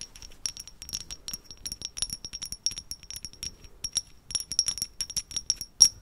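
Long red acrylic nails tap and scratch a small hollow grey-white matte ceramic vase with a dark rim, held in both hands close to the microphone. Rapid, irregular bright clicks and scratchy taps each ring briefly with a thin, high tone, almost no low end, and a louder tap near the end.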